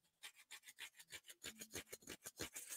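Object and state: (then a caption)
Soft uncoated cardboard. A regular, soft, uncoated piece of cardboard is scratched for comparison with a hardened, coated piece. About 14 quick, dry rasping strokes come in a steady rhythm, each a short bright scrape with almost no ring after it.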